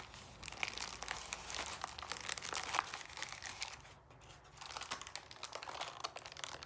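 Fingertips wearing rings rub and press the ribs of a hollow, pleated paper lantern held close, partly collapsing it. Dense, bright crinkling and crunching crackles continuously, dips briefly to a quieter stretch around the four-second mark, then resumes.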